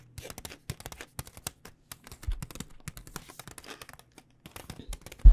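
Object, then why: Plastic food pouch. Long nails rapidly tap on a full blue plastic pad thai noodle pouch, producing dozens of quick, dry crinkling clicks in uneven bursts with brief pauses between them. The clip ends on a sharper, louder tap.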